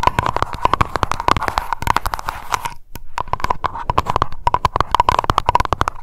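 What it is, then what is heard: Glass candle jar. A small glass lavender candle jar filled with wax rests on a microphone while long acrylic nails tap fast on its glass bottom and sides. The result is a rapid stream of sharp, dry clicks with a ringing tone near 1 kHz, briefly pausing just before the three-second mark and then resuming.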